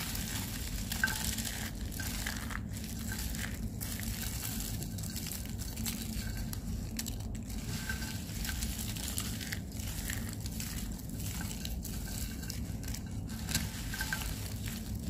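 Crumbled white and purple dry soap flakes and curl pieces in a white tray are pressed and crushed with fingertips and palms into smaller crunchy bits. A steady, dense crunching and crackling runs throughout at an even level, with a heavy low rumble underneath and bright, dry crinkles on top.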